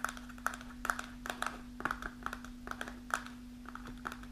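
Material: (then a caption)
Kraft paper. Long nails tap the front panel of an upright kraft paper snack pouch partly filled with dried mulberries. The taps are quick, irregular and crisp, with a papery click around 1.5 kHz and almost no ring. A faint steady low hum runs underneath.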